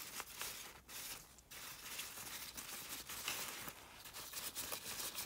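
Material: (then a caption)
Nylon. A latex-gloved hand rubs and crumples a folded maroon nylon umbrella canopy lying on a car seat. The result is a steady, bright crinkling and rustling, mostly in the high range with almost no low end, and a few brief dips in loudness between handling strokes.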